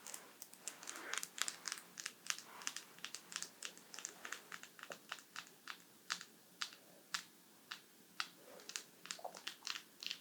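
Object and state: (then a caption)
Tapping on artificial polygel nails. Artificial polygel nails are tapped with fingertips in a quick, irregular run of sharp, dry clicks. The clicks are bright, with most energy above 2 kHz, and each one dies away almost instantly over a faint background hiss.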